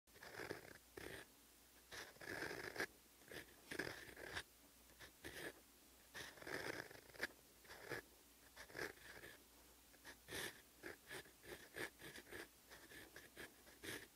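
An extra-fine, rose-gold colored steel fountain pen nib writes Korean letters on a flat page of lined cream writing paper in a notebook lying on a desk. The result is a quiet, continuous fine scratching that comes in short bursts of strokes, with a bright, papery hiss centred around 1.7 kHz and little low end.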